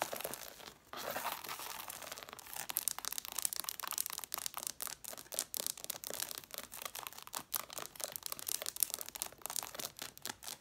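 Long dark nails scratch and fast-tap a solid stack of red cloth-bound hardcover books, working over both the paper page edges and the red covers. A bright, hissy scratching fills the first few seconds, with a short pause near one second. It then gives way to quick, crisp, dry taps with almost no ring.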